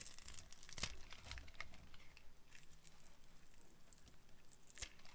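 A solid rectangular bar of dried dark blue soap, held in the hand, is carved with a metal blade that shaves off thin crunchy strips. The quiet, dry crinkling and crunching scrapes run throughout, with sharper bright crackles standing out near the start and again near the end.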